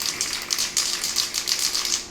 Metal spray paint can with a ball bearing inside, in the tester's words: if you start shaking it and don't hear that ball bearing, you got a lot of work to do